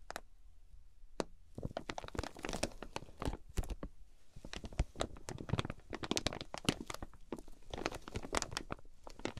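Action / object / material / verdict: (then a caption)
scrape / quilted fabric package in plastic wrap / plastic film / none. Long fingernails on both hands scratch and tap the crinkly clear plastic wrap of a flat quilted fabric package. The result is a quiet, dense run of sharp crinkling crackles and quick taps that fade almost instantly, with bright clicks over a soft low rumble.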